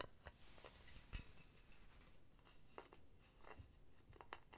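Long painted nails tap and scratch the solid metal base of a hollow, empty silver metal mesh pen holder, with felt pads on the base, close to the mic. Quiet, scattered light taps and short clicks with brief bright ticks sit over a soft scratchy rustle and low rumble, each tap dying away almost at once.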